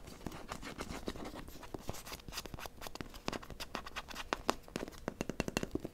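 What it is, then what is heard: Plastic toy figure. A small blue plastic toy figure is tapped and scratched quickly with long nails and fingertips. A rapid, dense stream of dry clicks and scratchy rubs follows, each tap short and bright with almost no ring. The taps grow slightly sharper and louder toward the end.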